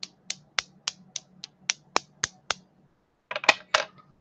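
A baked piece of Premo polymer clay is tapped to compare it with Pardo clay, giving a muffled, plasticky click. Ten short, dry taps come at a steady pace, then after a brief pause a quicker, louder cluster of a few more.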